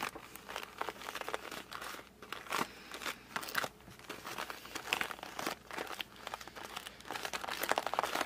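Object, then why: Cardboard puzzle box. A closed cardboard puzzle box, held in both hands, is repeatedly gripped and squeezed with fingers and thumbs. This produces a steady run of dry crinkling, crunching and squeaky creaks, in short bright bursts with almost no low end.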